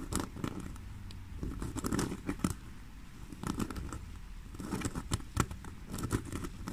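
Long fingernails scratch and tap the front panel of a black basket-weave faux leather handbag lying on a table. The result is a soft, dry patter of quick scratches and light taps, mostly low in tone with brief brighter flicks, coming in uneven bursts.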